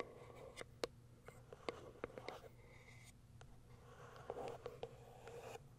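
Long white nails scratch and tap the top surface of a small white printed cardboard box. Quiet, dry taps with a hollow midrange knock rise above a soft, continuous scratching rustle, each tap dying away almost instantly.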